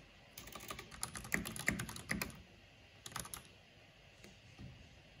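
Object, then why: Plastic mechanical keyboard. Fingertips and long nails type on a black plastic mechanical keyboard with a purple backlight, tapping the keys. A rapid, uneven run of sharp, bright plastic clicks and clacks fills the first couple of seconds, then a short second burst follows after a pause. A few softer, isolated taps trail off at the end.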